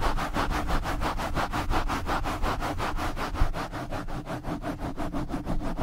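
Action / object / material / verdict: scrape / foam microphone windscreen rubbed with nylon mesh gloves / foam / none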